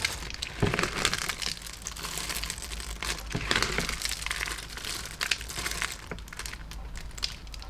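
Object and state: Pile of crushed soap shards.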